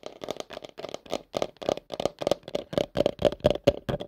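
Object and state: Plastic bowl.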